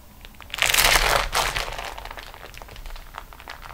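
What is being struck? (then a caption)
Beeswax-coated cotton food wrap. Long nails rest on and scratch the top edge of a flat, crinkled beeswax-coated cotton food wrap sheet lying on a table. After a quiet start, a loud, bright burst of crinkling and crackling rises just after half a second and lasts until about 1.3 seconds. A second swell follows, then softer, scattered crackles trail off through the rest of the clip.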